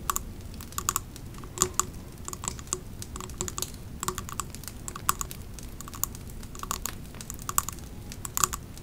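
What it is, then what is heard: Glass candle jar. A Pumpkin Cupcake three-wick glass candle jar with a metal lid, full of wax and standing on a rug, is tapped by long nails on its glass side and label. Quick, light, clicky taps come in an uneven stream over a low steady hiss, each tap a short bright tick with almost no ring.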